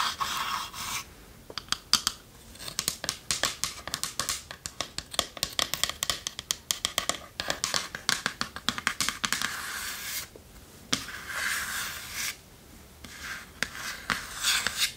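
Long nails scratch and tap the curved lid of a small, hollow, varnished wooden chest with metal fittings. Bursts of bright, dry scratching alternate with quick, crisp taps that die away almost instantly. There is very little low-end body.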